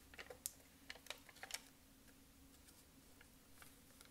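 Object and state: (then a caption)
Plastic puffy sticker sheet. Long acrylic nails quickly tap a sheet of bird and flower puffy foam stickers on a plastic backing. A quick burst of sharp, bright clicks fills the first second and a half, then fainter, sparser taps continue over a steady low hum.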